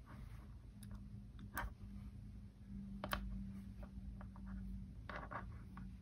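A palm-sized solid rectangular block, or bracelet section, of small coated metal neodymium magnet balls in rainbow colours is held in both hands while the fingertips press and roll the balls. This produces a scattered series of quiet, short, bright clicks over a steady low hum.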